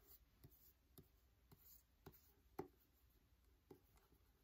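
Fingertips and nails tap and scratch the paper cover of a solid "Wonder" paperback book held in the hand. Several soft, dull taps come out above a quiet scratching rustle, with one sharper tap near the middle. Each tap stops almost instantly.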